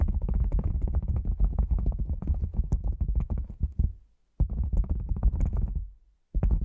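A hollow, black padded nylon fabric lens pouch placed over the microphone is tapped rapidly with fingertips and nails. This makes a dense stream of deep, muffled thumps with almost nothing above the low bass. The tapping breaks off briefly twice, near the four- and six-second marks, before resuming.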